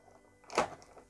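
A metal shoulder pad from a Saint Seiya Myth Cloth EX Metal Hypnos action figure by Bandai is tapped while being handled to confirm it is metal, unlike the plastic pads on the classic version. It gives a quick, light thunk with a mid-pitched, slightly bright tone that fades almost at once over faint background music.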